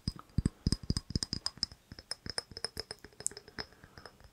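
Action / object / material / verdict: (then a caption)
tap / small ribbed glass jar with metal lid / glass / none. A small, empty, hollow, clear ribbed glass jar with a gold lid, held close, is tapped and scratched with fingernails. The result is a quick run of soft, dry clicks and ticks, each with a low thump and a bright glassy tick that fades almost at once. The tapping speeds up and lightens toward the end.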